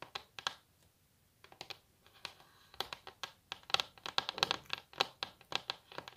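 Long natural nails tap fast and scratch across a solid varnished wooden tabletop, giving sharp, bright clicks with a dry scraping texture between them. The taps come in quick irregular bursts after a short pause, each dying away almost at once.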